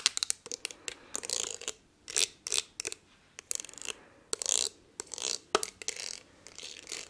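Long nails tap and scratch across the ridges of a palm-sized, blue textured glass perfume bottle. Sharp, bright clicks alternate with short rasping scrapes, all thin and high with almost no low end. Each tap dies away almost instantly, with quiet gaps between the bursts.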